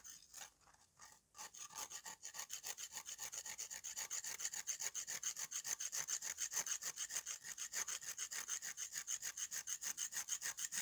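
A metal kitchen knife blade scrapes across the surface of a large, flat, solid slab of dry, crumbly red mud held in one hand over a pile of red powder, shaving off powder. Fast, steady strokes make a continuous rhythmic rasping that is dry, bright and high with almost no low end, after a few sparse, quieter scrapes at the start.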